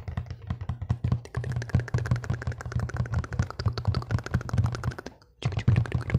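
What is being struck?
Corrugated cardboard box.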